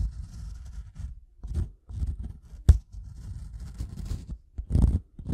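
The metal prong tip of a pink-handled tool taps and scratches across the top surface of a solid, light-colored wooden block or plank. Dull, low scraping and rubbing in uneven bursts is broken by one sharp, dry tap that dies away almost instantly, and a louder, rougher scratch comes near the end.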